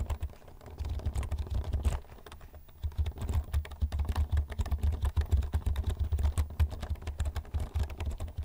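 Fingertips type rapidly on a black plastic computer keyboard held vertically in front of the microphone. The result is a dense run of short, clicky key taps with a low, thumpy body, briefly thinning out around the two-second mark before the fast typing resumes.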